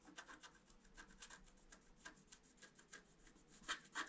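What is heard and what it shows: A wooden stylus scratches the black coating of a flat scratch-art card lying on a table, working near the deer head. About fifteen short, dry, bright scratching strokes come in an uneven rhythm, with the last two the loudest.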